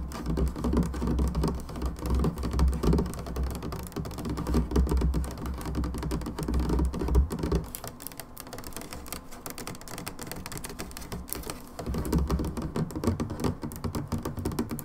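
A brown plastic hydrogen peroxide bottle standing on a table is tapped on both sides by long nails, producing rapid, irregular, hollow clicking taps with a dull, low thump beneath them. The tapping runs fast and dense, eases into a quieter, thinner stretch midway, then picks back up with fuller thuds near the end.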